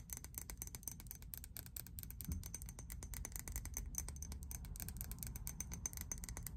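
A hand-sized, pink faceted Victoria's Secret glass perfume bottle with a fuzzy cap is tapped with long acrylic nails. Quick, dense, bright clicking taps carry a faint high glassy ping over a steady low rumble, and each tap dies away almost instantly.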